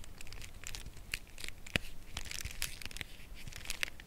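Long nails tap and scratch along the side edge of a full cardboard chocolate bar box held horizontally. The sound is a steady run of crisp, dry taps and papery scratching with a bright, crinkly edge and no ring after each hit, over a faint low rumble.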